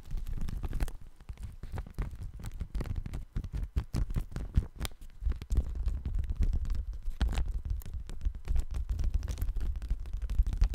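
A thin, light, pale-yellow sheet of paper is held in both hands close to the microphone and crinkled and rubbed with the fingertips. The result is a soft, continuous rustle of dense, rapid crackles that is dominated by low, muffled energy and carries only faint high-end detail.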